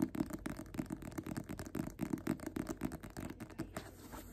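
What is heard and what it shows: Fingertips and nails tap and scratch the paper cover of a small, worn, solid, closed paperback of Invisible Man held upright in both hands. A fast, uneven run of soft, dull taps, each dying away almost at once, mixes with light papery scratching over a faint steady hiss.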